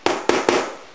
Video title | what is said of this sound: Confectionner son pain de campagne sans casserole | si je tapote sur le fond voilà ça sonne bien creux